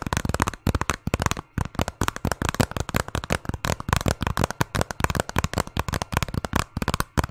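A hollow hard-plastic video game case, held in both hands behind the microphone and partly hidden, is tapped rapidly with fingernails. Quick dry clicks come in clustered bursts with brief pauses between them. Each tap has a hollow, low body, a bright edge, and almost no ring.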